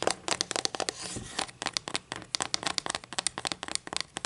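Long acrylic nails tap along a solid wooden ruler lying on a table and then held in the hand. About two dozen quick, dry, bright clicks patter with no ring, broken near the start by a brief, soft scratchy rustle.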